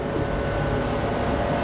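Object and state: Nothing is struck.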